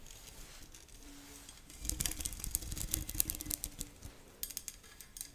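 Fingernails scratch across the string mesh and metal frame of a badminton racket held over a microphone. After a quiet, hissy start, rapid irregular bursts of bright, dry scratching clicks build up with a soft low rumble and a faint steady hum underneath. The scratches then thin out to a few sharp ticks at the end.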